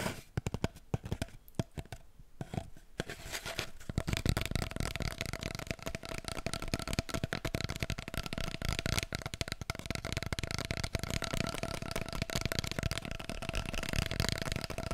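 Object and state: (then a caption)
Cardboard paper roll tube. Long painted nails tap and scratch an empty, hollow brown cardboard kitchen paper roll core held upright. Sparse, dry taps in the first few seconds give way to dense, rapid tapping and scratching, with a faint hollow tone ringing through. Each hit is short and dry with no ring-out.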